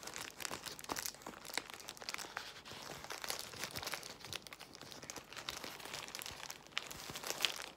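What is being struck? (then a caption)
Plastic bubble wrap. Long white nails scratch and tap a large bundle of clear plastic bubble wrap while fingers squeeze it. The result is a quiet, steady stream of dense, bright crinkling and crackling with many short, sharp clicks and almost no low end.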